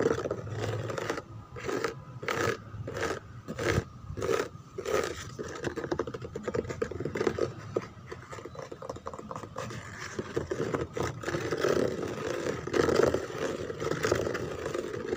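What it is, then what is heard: Plastic chair scratched. Fingertips rub and scratch across the rose lattice relief on the backrest of a white plastic chair. The first few seconds bring regular, rhythmic scraping strokes. These give way to denser, quicker scratching with a dry, mid-pitched rasp.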